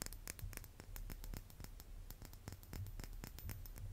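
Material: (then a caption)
Plated metal. A small, hollow, silver-plated chrome brass-instrument mouthpiece is held in the fingers and scratched and tapped with fingernails. The result is a quiet, rapid stream of short, dry ticks and scratchy clicks with bright edges that die away almost instantly, over a steady low hum.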